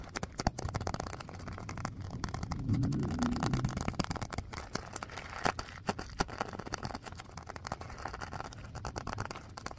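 A small stitched purple faux-leather (vinyl) filled pouch is squeezed, scratched and tapped with fingernails and fingertips. Quick, irregular taps and scratchy crinkles run throughout, with a fuller, muffled rustling squeeze swelling in the middle. The sound is close and soft, weighted toward low thuds with little high brightness.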